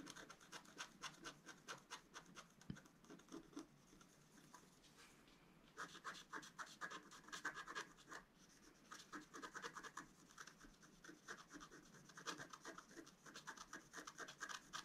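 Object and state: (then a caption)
Scratch-art card being scratched. A wooden stylus scratches the black coating near the top of a flat, roughly A4 scratch-art card lying on a table. Quick, dry, bright scraping strokes come in dense bursts, with a quieter stretch of lighter scratching in the middle before the strokes pick up again.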